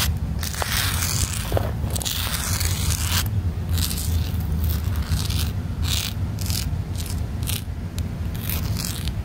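Long black nails scratch and rub across the rough, dense top of a round black rubber-crumb stepping pod on a playground. A steady stream of scraping and crackling texture runs throughout, with bright bursts of scratching over a strong low rumble.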